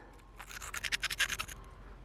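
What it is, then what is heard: Solid opal-filled thunderegg. A rapid series of bright, high-pitched scratches is made on the surface of a thunderegg, a rhyolite nodule, just after it has been sawn open. The halves reveal it is solid, not hollow: it is packed full of fire opal, which is heavily crazed.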